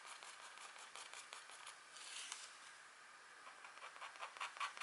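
A pointed stylus etches a deer drawing into a flat, thin, black wax-coated scratchboard card. It makes quiet, dry, bright scratching strokes in an uneven rhythm, with almost no low end. The strokes grow sharper and louder toward the end.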